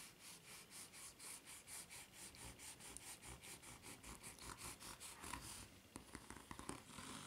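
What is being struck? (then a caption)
Rubber flip-flop sole, ridged. A white, ridged rubber flip-flop sole is held bottom-up while long nails scratch and rub across its serrated ridges. The result is a fast, steady series of bright, raspy strokes. It ends in a few sharper, irregular scrapes and taps.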